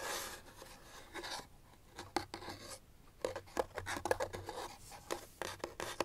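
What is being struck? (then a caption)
Small paperboard box. Long nails tap and scratch along the sides and edges of a small, hollow white paperboard box held in the hands. Quiet, dry scratching and rubbing are punctuated by short, hollow-sounding taps that die away almost instantly. The taps come irregularly and grow more frequent toward the end.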